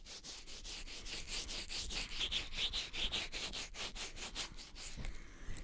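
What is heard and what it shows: Both open hands cup and rub the soft silicone ear shells of a black 3Dio binaural microphone on a stand, recorded through the microphone itself. The result is a steady run of brushing, rubbing strokes at about two per second, bright and airy with a soft low rumble underneath.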